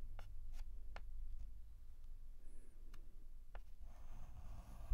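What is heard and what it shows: A white chalk stick held in the fingertips writes and scratches letter strokes on a flat black chalkboard. Short, dry taps and scrapes sound over a low, steady rumble, and a softer continuous scratching follows near the end.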